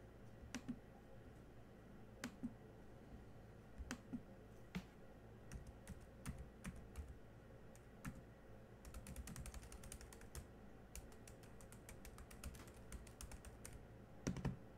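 Fingertips of one hand tap the black plastic keys of a silver laptop keyboard, producing short, dry clicks over a steady low hum. The taps come sparsely at first, bunch into a quick typing burst in the middle, then thin out before a couple of louder strikes near the end.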